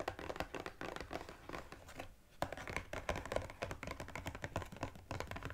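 Fingertips and nails rapidly tap and scratch the front and sides of a small cardboard EOS gift box with a plastic window and lip balm spheres inside. The result is a dense run of short, dry papery taps and scratchy rustles with almost no ring, pausing briefly near the middle before resuming.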